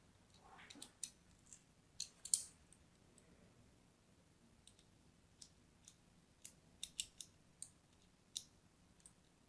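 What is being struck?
Bar of soap cut with a thin blade.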